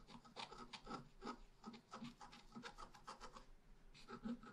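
A wooden stylus scratches the roots at the bottom of a tree drawing into a flat, black-coated scratch art paper sheet. Quiet, dry, rasping strokes come in quick repeated bursts, each with a bright, hissy edge over a soft low-mid body. Each stroke stops almost at once, with no ring.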